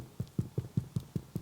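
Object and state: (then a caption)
Hollow-sounding, fully baked bread loaf. The bottom of a baked, yeast-free spelt loaf is knocked seven times in a steady rhythm, each knock a short, dull, low thud that dies away almost at once. The hollow sound shows the bread is fully baked through.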